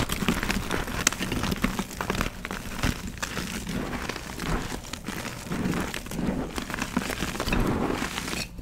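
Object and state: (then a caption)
Pressed gym chalk being crushed. A solid pressed gym chalk donut is crushed and rubbed to powder between fingertips with short painted nails over a tray of loose chalk. The sound is a steady, dense stream of dry crumbling, crunching and fine crackling, with soft low thuds beneath and a few sharper cracks standing out. It keeps an even level throughout.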